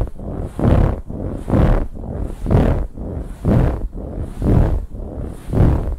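Long nails aggressively scratch a large, soft, dark brown pillow with a ribbed, textured fabric cover, first across the center and then along the sides. Six rhythmic bursts of deep, rough, rumbling scraping come about once per second, with quieter scratching between them.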